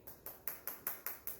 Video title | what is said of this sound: Bunny Overboard Storytime with Miss Tricia | Doesn't sound very hard, does it? Sounds like it's hollow or empty inside.